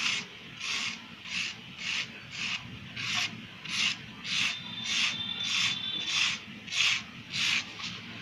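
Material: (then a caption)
Sand-cement. A handheld wire-loop carving tool with a red handle shaves and scrapes the top of a rectangular, solid, crumbly grey soft sand-cement block held in a plastic-lined tray. It makes a steady rhythm of bright, raspy scraping strokes centred around 2.5 kHz, with almost no low end. Loose powder falls off the block.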